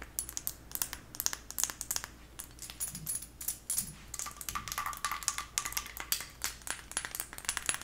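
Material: Glass.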